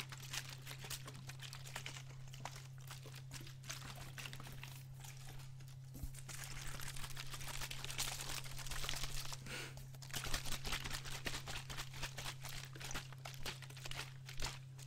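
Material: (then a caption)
PET plastic. A clear PET water bottle with a teal cap and green label, partly filled with water, is squeezed and crinkled by hand and shaken, giving dense, bright crackling and crinkling with some watery sloshing. A steady low hum runs underneath throughout, and the crinkling grows louder after the midpoint, with sharper bursts near the end.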